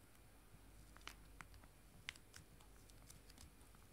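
Two small, full, joined foil-laminated wet wipe sachets are held in both hands and tapped and scratched with fingernails. The result is quiet, irregular, crisp clicks and faint crinkles with a bright edge, the sharpest near 2 kHz, over a low background hum.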